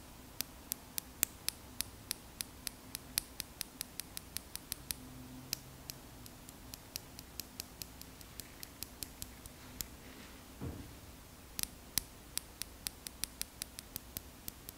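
Two small solid glass gems, one held in each hand between the fingers and long nails, are tapped and clicked together close to the microphone. The result is dozens of sharp, bright, high clicks that stop almost instantly, with a steady rhythm that thins out mid-clip. A brief low thump sounds just before the quick clicking resumes, all over a faint steady hiss.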